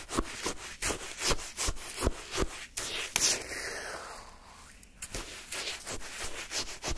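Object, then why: Frozen sherbet in a paper cup, scraped with a wooden stick. A wooden stick scrapes and digs through pale yellow shaved-ice sherbet in a paper cup. Crisp, gritty scraping strokes sound in an irregular rhythm, with bright crunchy crystal texture. A smoother, quieter sliding scrape follows in the middle before the crunchy digging resumes.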